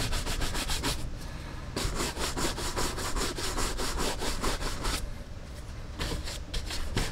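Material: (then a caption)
Leather. A bristle brush is scrubbed back and forth across the leather vamp and shaft of an empty brown Lucchese leather cowboy boot, held by hand on a wall rack during restoration. Quick, bright, scratchy brush strokes come in steady rhythmic bursts, broken by two short pauses of quieter rubbing.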